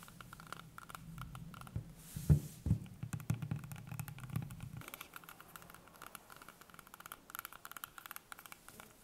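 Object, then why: Whole green apple. A small, solid, whole green apple is held in hands over a wooden table while long painted nails tap and scratch its skin. Soft, dull, low taps and scrapes patter irregularly, with a few louder thumps early on over a low rumble. The sound then thins into lighter, quicker tapping that continues to the end.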